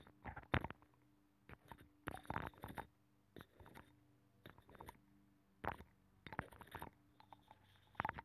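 A thin metal pick scratches and pokes inside a hollow, ear-shaped abalone shell with a nacre interior that is mounted on a microphone, mimicking ear cleaning. Close, quiet bursts of crackly scraping and short clicky taps come in irregular clusters over a faint, steady low hum, with each sound dying away almost instantly.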